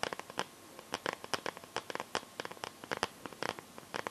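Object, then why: Smartphone in a plastic case. Long nails scratch across the back of a smartphone in a clear pink plastic glitter case. About 21 short, crisp scratching clicks come out separately over four seconds. The sound is thin, bright and dry, with almost no low end and no ring after each stroke.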